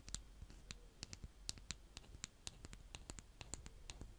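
A green plastic scoop held by fingers with painted nails repeatedly cuts and scrapes through brown kinetic sand. The result is a quiet, rapid series of crisp, bright clicks and grainy crunches, each dying away almost instantly over a faint low rumble.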